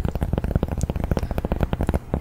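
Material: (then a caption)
Cork. Fingers tap rapidly on a large round cork coaster, producing a dense run of soft, dull, low thuds with almost no ring. The taps come in quick, uneven succession, muted and woody with little brightness.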